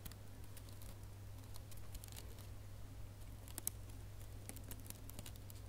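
Fingernails scratch and pinch the loops of a small red metallic plastic ribbon gift bow. Quiet, crisp crinkling and bright ticking scratches come in scattered bursts over a steady low hum.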